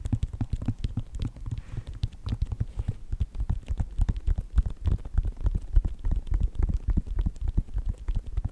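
Fingertips and nails rapidly tap and scratch the synthetic upper of a hollow white Nike sneaker with a foam sole. The result is a fast, irregular patter of short, dull, low thuds with very little ring.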